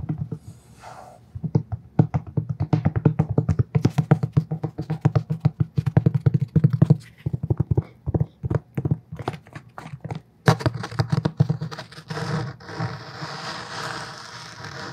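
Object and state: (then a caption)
Cloth hardcover book tapped. A thick black cloth hardcover book, held close to the microphone, is tapped quickly on its cover and spine with fingertips and short nails. Rapid, dull, low thumps with very short decay come in uneven bursts. Near the end, a brighter, hissier texture joins the taps.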